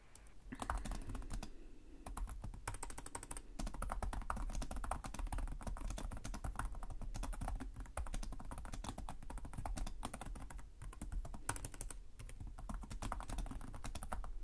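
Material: Plastic.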